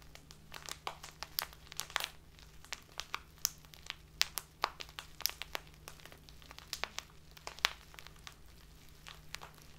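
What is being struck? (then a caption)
Clear plastic bag filled with loose dried tea. A tall, narrow clear plastic bag full of loose dried tea, tied at the top, is held upright on a table and squeezed with both hands by someone with long painted nails. It gives a steady stream of sharp, bright crinkles and crackles with no ring, over a faint low hum.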